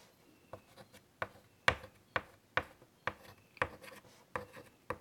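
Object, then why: Chalk on a wood-framed chalkboard. White chalk held in the fingertips scratches short detail lines onto a large wood-framed chalkboard. Each stroke is a quick, bright, gritty scrape with a faint squeak around 1.1 kHz. The strokes come at an irregular pace with quiet gaps between them.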